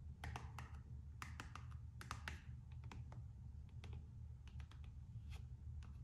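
Long nails scratch and tap the coated-canvas strap and rubber sole edge of a Gucci slide sandal. Quiet, dry, short clicks and scratchy taps come in quick irregular bursts over a steady low hum. Each tap dies away almost at once.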